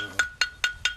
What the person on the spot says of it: 이렇게 청명한 소리가 나는 것이 좋은 숯.